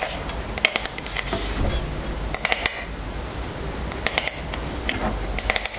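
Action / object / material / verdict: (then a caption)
tap / wooden paddle hairbrush / wood / none. Long nails tap and scratch the flat wooden back of a striped wooden paddle hairbrush held in the hands. Sharp, bright clicks come in quick clusters, several in a row, over a soft steady scratching hiss. Each tap dies away almost at once.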